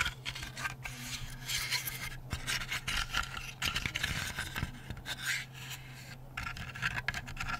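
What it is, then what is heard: Layered wooden butterfly night light. Fingertips and nails rub, scratch and tap the carved wings of a hand-sized, lit, laser-cut layered plywood butterfly night light from Hi Park, held up in front of the face. Dry, bright scraping and scratching runs throughout, broken by short, quick-fading taps over a steady low hum.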